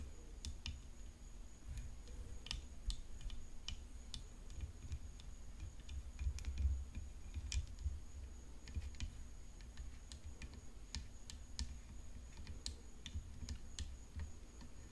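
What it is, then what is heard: Composite tennis racket frame tapped with fingernails. Long nails tap a hollow composite tennis racket frame decorated with rhinestones, resting on black cloth, striking both the frame and the rhinestones. Quick, dry clicks and ticks sound in an irregular stream over a low, soft rumble, with a faint steady high tone underneath. Each tap dies away almost at once.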